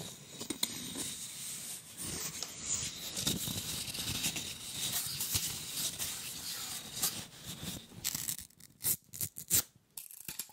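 A hand-sized, solid, flat block of colored wooden popsicle sticks bound with a paper tape strip is held close to the mic and scratched with fingernails. The result is a steady, bright, dry scratching that stays mostly in the high range with little low end. Near the end it breaks into sparser, separate scrapes and taps.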